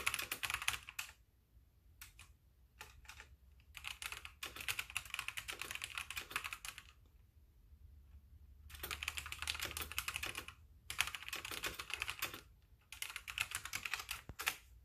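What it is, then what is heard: Plastic mechanical keyboard being typed on. Fingertips with painted nails type with both hands on a full-size backlit plastic mechanical keyboard with white plastic keycaps. Bursts of rapid, bright, clacky keystrokes, sharp and short with little ring, centered around 2.5 kHz, alternate with brief pauses and a few isolated key taps. A faint low hum sits underneath throughout.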